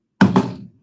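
A snapped-shut plastic egg filled with soybeans is dropped about 12 inches onto a hard desk. It lands with two quick, low thunks that fade over about half a second. The egg stays intact and does not break.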